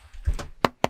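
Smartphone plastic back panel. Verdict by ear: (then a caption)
Hollow. Three knocks on the fiber-reinforced plastic back panel of a Xiaomi 17 Ultra smartphone, each a short, dry tap with a low thump that dies out almost at once. The panel sounds hollow, almost like a balloon, and weird, apparently because of empty space behind the panel that lets it give slightly when pressed.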